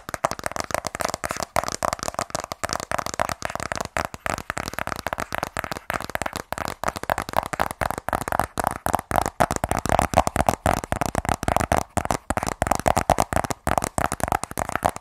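Long nails tap rapidly and continuously on a small, rigid, closed black cardboard iPhone 12 Pro box, on the front and along the edge printed "iPhone." The clicky taps are dry and hollow, centred in the midrange around 700 Hz, and each dies away almost instantly.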